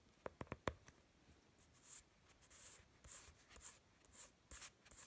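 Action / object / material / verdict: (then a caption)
tap / sheet of drawing paper / paper / none. Fingertips and short nails tap and rub across a sheet of drawing paper from a sketchpad, lying flat with marker drawings on it. Four quick, sharp taps open the clip, followed by a series of soft, bright, hissy scratching strokes with short pauses between them. The whole clip stays very quiet and close.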